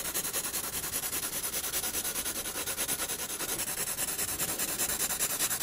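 A pencil tip rubs back and forth on a spiral sketchbook's paper sheet, shading the lower body of a penguin drawing. Rapid, fairly even strokes make a steady, bright, scratchy hiss with very little low end.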